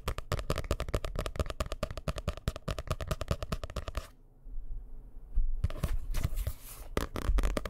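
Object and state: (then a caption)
Hardcover book. A dark blue hardcover book held in the hands is tapped rapidly with fingertips on its cover and edges, giving a dense run of dull, low-heavy knocks. After a brief quiet pause, nails scratch across the cover in rougher, brighter scraping bursts mixed with more taps.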